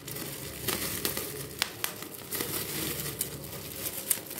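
A large clear plastic bubble wrap sheet is crinkled while its air-filled bubbles are pinched and popped with fingertips. Sharp, bright pops stand out over a steady crinkling rustle.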